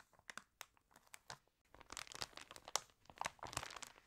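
Fingernails scratch the glossy pages of a water-damaged fashion catalog, making quiet, bright, dry scratches and crinkles. A page is then lifted and turned, and the second half becomes a denser run of crackling paper with sharp, brief snaps and no lingering ring.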